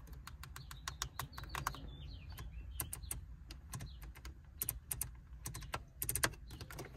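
Long painted acrylic nails and fingertips tap and scratch the hard plastic climate control panel of a car's dashboard, a solid fixed panel with round knobs and buttons. Quick, sharp clicks and taps come in an irregular stream over a steady low rumble, with faint high chirping sounds in the background.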